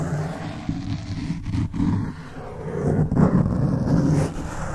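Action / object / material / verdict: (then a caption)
scrape / foam microphone windscreen / foam / none. Fingertips scratch the top of a black foam microphone windscreen. The result is a close, muffled, rumbling scratch concentrated in the low range, rising and falling unevenly in short bursts with little high-end content.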